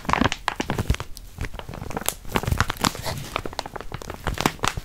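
A full yellow crinkly plastic wrapper around a stack of cookies is held in both hands and crinkled and scratched with fingertips and nails. The result is a steady run of sharp crackling crinkles and scratchy rustles with short bursts throughout.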